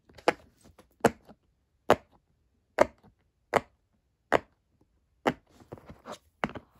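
Fingertips of both hands press and pop the hollow bubbles of a square rainbow silicone pop-it fidget toy. Nine sharp, dry, tapping-like clicks come at a steady pace, centered near 600 Hz, each fading almost instantly, with fainter softer pops between them.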